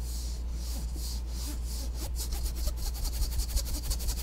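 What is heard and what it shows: A blue ribbed foam yoga mat, rolled into a hollow tube and held close to the mic, is scratched and rubbed along its ribbed surface with the tail of a thin black plastic comb. Soft, hissy rasping strokes sit over a steady low hum, turning into quicker, more clicking scrapes in the second half.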